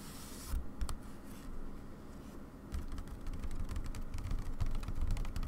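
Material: Fabric.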